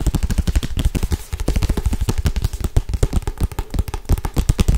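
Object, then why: Thick paperback book with glossy cover. A thick paperback Harry Potter book with a glossy cover, held in one hand, is tapped fast with long acrylic nails. It makes a rapid, continuous run of short, dull, low thuds with very little high-end click, each dying away almost instantly.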